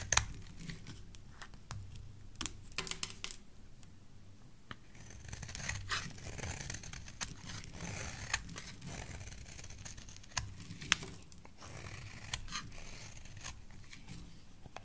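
A rectangular solid yellow bar of soap is held in the hand while a metal blade shaves curls off it. Quiet, steady scraping and crisp shaving sounds with a bright edge repeat throughout, broken by a few sharper clicks and snaps.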